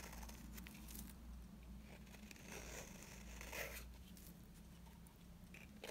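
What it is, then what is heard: Dry bar soap being scraped. A blade scrapes flakes off the face of a dry yellow bar soap, making quiet, dry crackling and crinkling scrapes over a steady low hum. Small bright scratches come in an irregular run, with a slightly louder scrape near the middle.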